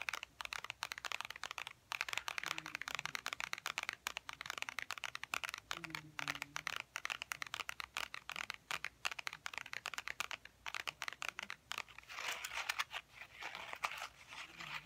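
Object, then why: Textured faux leather wallet. A tan wallet with faux ostrich-textured leather is held in both hands while fingernails tap and scratch its bumpy surface. Dozens of quick, dry, bright clicks and scrapes come in a dense, irregular stream, each dying away almost at once. A soft, brighter patch of scratching swells near the end.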